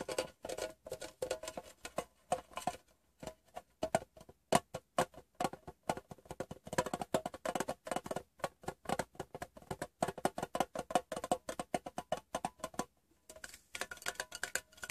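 Fingertips and nails tap the bottom and edges of a closed, hollow, rectangular printed metal Wrigley's gum tin resting upside down on fabric. A rapid, uneven stream of short, dry taps with a hollow metallic tone around 700 Hz dies away almost instantly, with a brief pause near the end.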